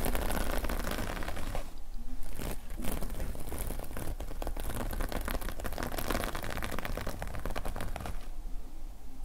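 Both hands rapidly scratch the plastic sequin fabric cover of a closed notepad lying flat, using fingertips and nails. A dense, steady crackling and rustling scratch runs throughout over a low rumble, with brief quieter moments near two seconds and toward the end.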